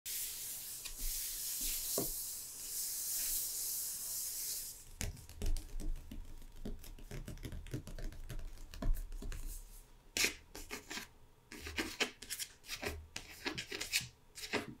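Fingertips and long red-painted nails rub and scratch across the matte printed paper-over-board cover of a closed, medium-sized, solid hardcover picture book lying flat. For the first five seconds there is a steady, bright, hissing rub. Then it breaks into quick, dry scratches and light taps that stop short with no ring.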